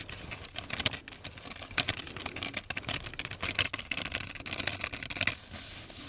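Fingertips tap on a small brown cardboard crayon box with a window showing four crayons inside, hollow and partly full. Quick, dry, bright taps patter in an uneven stream with a faint papery rattle. Each tap dies away almost instantly, with no ring.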